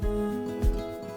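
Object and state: Nothing is struck.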